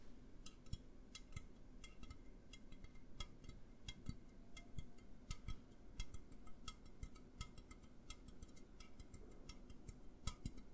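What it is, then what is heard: Aluminum soda can. Fingertips and nails tap an upright A&W aluminum drink can, producing a steady run of quick, light, dry ticks with almost no ring. The taps vary in strength, and a faint low hum sits underneath.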